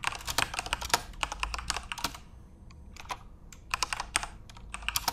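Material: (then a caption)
Plastic. Fingertips type steadily on a backlit plastic RGB Corsair mechanical keyboard, producing quick, bright, dry key clicks in dense bursts. The typing pauses briefly near the middle, then resumes over a low, steady hum.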